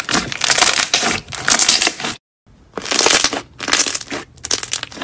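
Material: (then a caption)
Slime. Two hands fold and squeeze a large, soft, solid white slime on a marble-pattern surface, trapping air pockets that pop. Dense, bright crackling and popping bursts come in waves, broken by a brief silent gap just after two seconds before the squeezing resumes.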